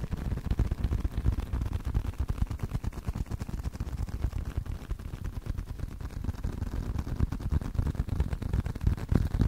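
Fingers tap continuously on a leather card wallet, producing rapid, uneven soft thuds. The taps are dull and low, with almost no bright content, and each one dies away almost instantly.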